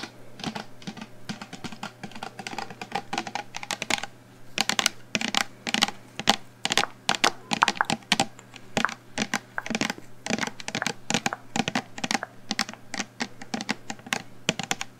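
Long acrylic nails tap rapidly on the sides of a medium, hollow black plastic shampoo bottle held just in front of the microphone. The sound is a dense run of bright, clicky taps that die away almost instantly, coming in quick bursts with short pauses over a faint steady low hum.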